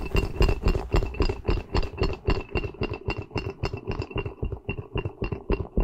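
A small white soft rubber spiky ghost squishy toy, held upside down, has its bristles rubbed and squeezed with fingertips and nails. The result is a rapid, fairly steady series of short, dull, squishy rubbing bursts, about three to four per second, heavy in the low end with a faint bright squeak running through them.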